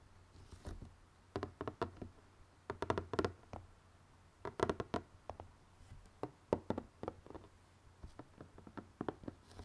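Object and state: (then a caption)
Cardboard jigsaw puzzle box being tapped. Fingertips and nails tap and scratch on the glossy printed lid of a closed, hollow cardboard jigsaw puzzle box filled with puzzle pieces. Quick, soft knocks with a midrange body come in irregular clusters, each dying away almost at once, between brief quiet gaps.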